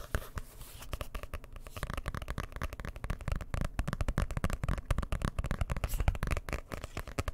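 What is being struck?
Hardcover book with cloth or board cover.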